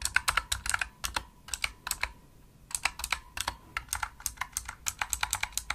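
Both hands type with fingertips and long nails on a full-size pink plastic opto-mechanical gaming keyboard, producing continuous clicky key taps. Around thirty sharp, bright clicks come in quick bursts, with a brief pause just after two seconds. Each tap stops almost instantly with no ring.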